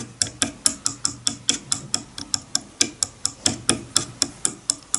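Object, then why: Wooden comb. The teeth of a wide-tooth wooden comb lying on a bamboo board are flicked one by one with a fingernail. This gives 22 short, bright, ticking plucks at a steady pace, each dying away almost at once.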